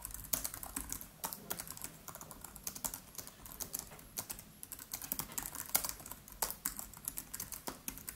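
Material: Plastic.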